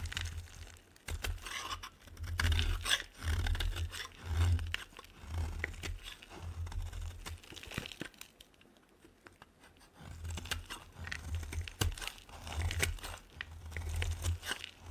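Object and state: Bar soap being shaved.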